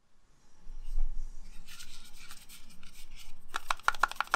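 A whole, solid green Granny Smith apple is held in one hand and scratched and tapped with the fingertips and short nails of the other hand. Soft, bright scraping and rubbing fills the first few seconds. It ends in a quick run of crisp, short taps with a hard, hollow-sounding click and almost no ring.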